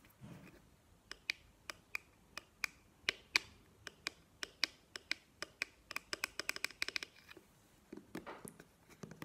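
A plastic cream squeeze tube is held and turned in the hands while long nails tap on its cap and body. About 26 sharp, bright clicks ring around 2.4 kHz with almost no decay, and soft handling rustles are heard at the start and end.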